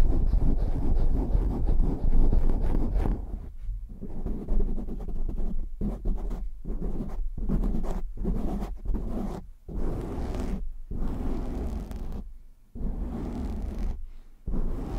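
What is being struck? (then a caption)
Foam microphone windscreen. Hands cup a black foam windscreen on a microphone while fingertips scratch it, producing a dense, muffled low rumble with rough scraping textures and almost no high end. The scratching runs in bursts broken by several brief near-silent gaps as the hands shift.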